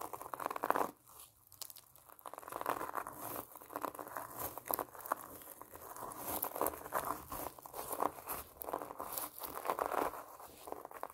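Long painted nails tap and scratch the rind of a large pomelo through the orange plastic mesh net it is wrapped in, held close. The result is a steady run of crisp, crinkly scratches and quick taps, centred in the midrange around 1 kHz with little low end, rising and falling in short bursts throughout.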